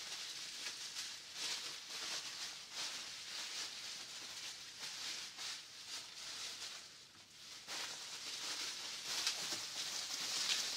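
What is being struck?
Nothing is struck.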